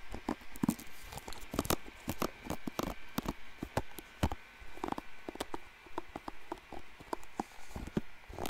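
Fingers scratch and flick the bristles of a blue plastic paddle hairbrush right next to the microphone. A quick, irregular run of dry, crisp clicks and scratchy patters sounds close and intimate, with sharp flicks standing out against a soft, low background rustle.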